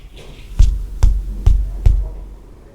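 Four knocks on a solid concrete dividing wall each give a short, dull, low thud that dies away almost at once. This hard, solid sound marks the wall as one with good soundproofing.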